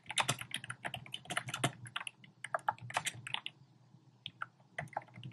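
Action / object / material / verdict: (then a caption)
tap / plastic keyboard with round keycaps / plastic / none. Fingertips with short painted nails type rapidly on a compact keyboard with a black plastic frame and round pink, orange and cream plastic keycaps resting on a desk. The quick, uneven bursts of key taps give crisp, bright clicks over a soft low thud, with each tap dying away almost instantly and brief pauses between flurries.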